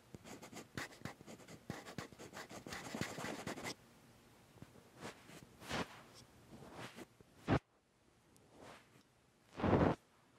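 Fingertips and short nails on both hands scratch the top plate and viewfinder hump of a Sony A7s metal mirrorless camera body mounted on a tripod. A dense run of quick, dry scratches fills the first few seconds, then thins into softer, scattered scrapes. A sharp click and a final louder rasp end the clip.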